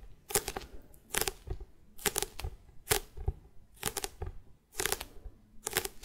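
A closed A5-size bullet journal with a solid, glossy printed hard cardboard cover is held up in the hands and tapped and scratched on the cover with long red-painted nails. Bursts of sharp clicks and bright scratching come in roughly regular clusters. The clicks are short and dry, with a slight hollow body.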